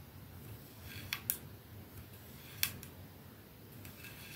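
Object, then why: Glass perfume bottle with metal band. Long fingernails on both hands scratch and tap the silver band and glass end of a capsule-shaped glass perfume bottle resting on a dark surface. A few sharp, bright clicks stand out above a quiet, soft scratching texture and a low background rumble, each click dying away almost at once.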